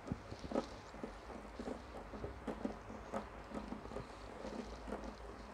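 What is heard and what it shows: Long turquoise-painted fingernails tap and scratch along the ridged body of a large, clear, ribbed PET water bottle that is partly filled with water and hollow. Soft, irregular clicks and dry scratching patter across the plastic over a faint, steady low hum.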